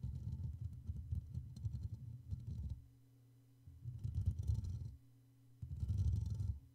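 Fingertips and short nails brush and tap the top and sides of a Blue Yeti microphone's hollow black metal mesh grille, with the hands staying on the mic throughout. It makes deep, muffled rumbling scrapes and thumps in three bursts, separated by quieter stretches of steady low hum.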